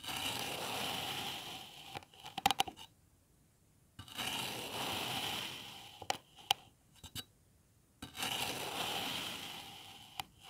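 A metal knife with an iridescent blade slices and scrapes through a solid, hand-sized molded block of green kinetic sand, leaving cut lines in it. Three long, bright, gritty scraping strokes are each followed by a few sharp little clicks and then a near-silent pause.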